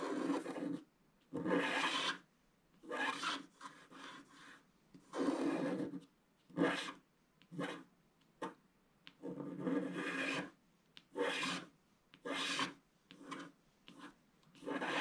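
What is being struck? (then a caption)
Wax-coated scratch-art paper scraped with a wooden stylus. A wooden stylus scratches across a flat, black wax-coated scratch-art paper sheet to reveal a tree pattern. Short and longer raspy strokes are separated by brief silences. Each stroke gives a dry, papery scraping sound with a low-mid body and a bright, hissy edge.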